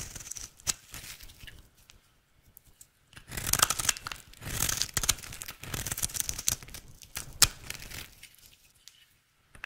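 A square, solid yellow bar of dry soap is held in the hand and shaved with a utility knife blade in a scraping, cutting action. Crisp, bright scraping and crackly, tearing-like shaving bursts come in short runs separated by quiet pauses, with a few sharper clicks standing out.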